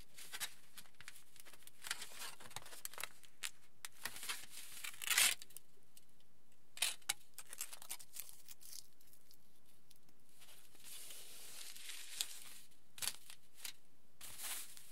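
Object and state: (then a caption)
Aluminium foil sheet being crinkled. A crinkled aluminium foil sheet is handled as a hand slides and presses across it while fingertips pinch and scratch the surface. Bright, brittle crackles and short scratchy bursts come in uneven clusters over a quiet low background, with a louder, denser crinkle around the middle.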